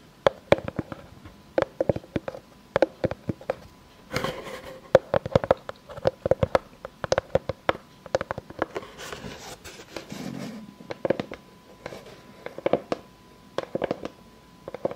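Long fake nails tap and scratch across a solid round board of light, unfinished pine, first held up and then laid flat. Quick, dry clicks come in clusters, each with a short woody ring in the mid range and almost no decay. Brief bursts of brighter, hissy scratching stand out around four seconds and again near ten seconds.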